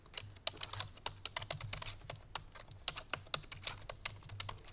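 Fingertips with long painted nails press rapidly on the keys of a full-size black plastic computer keyboard resting on a white fur rug. The result is fast typing: a quick run of bright, clicky taps that die away almost instantly, over a faint low hum.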